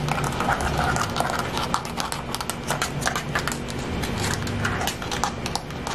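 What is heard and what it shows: A hand-sized smartphone in a thick black rubberized plastic case is held close and tapped and scratched rapidly with long fingernails. The result is a dense, irregular stream of quick, dull clicks layered over continuous scratchy rustling at a steady level.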